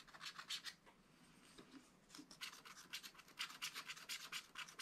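A wooden stylus scratches fine lines into the coating of a black wax-coated scratch-art paper page lying flat in a spiral pad. Dense, quick strokes give bright, dry rasping bursts with almost no low end, easing to a quieter stretch partway through before fast scratching resumes.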